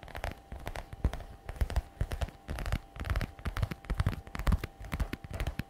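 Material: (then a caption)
Patent leather. Long red nails tap quickly in irregular bursts and scratch across the flap of a glossy black patent faux leather messenger bag. The result is dull, deep-thudding clicks with short bright scratchy streaks, over a faint steady tone underneath.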